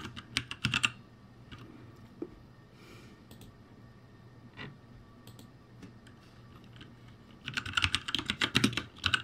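Fingertips type on the plastic keycaps of a backlit ROCCAT G65 mechanical keyboard, producing sharp, bright clicks with a low thud beneath each keystroke. A quick flurry of keystrokes opens the clip, followed by a quiet stretch with only scattered taps. A dense, irregular burst of typing then runs to the end.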